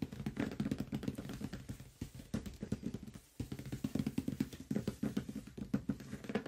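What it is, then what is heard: Cardboard box. Fingertips and nails tap rapidly across the top and side of a large closed cardboard product box. The result is a dense, fast patter of short, dull, hollow knocks with a low body around 200 Hz, occasional brighter nail clicks, and brief pauses between bursts.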